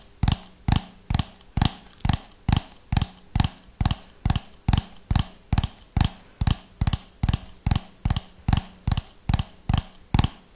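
A hollow orange ribbed plastic dome, held close to the mic, is tapped with the fingernails of both hands in a steady rhythm. There are 24 short, dull, low knocks at about two per second, each dying away almost at once with a faint bright click on top.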